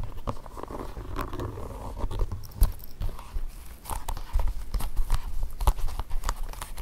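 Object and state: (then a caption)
Leather court shoe. Fingertips and short nails tap and scratch the upper, lining and padded insole of a single empty black leather (possibly faux leather) court shoe resting on carpet. The hollow shoe gives a quick run of dull, muffled low thumps with very little ring, mixed with soft scratchy rustling and a few sharper clicks from the nails.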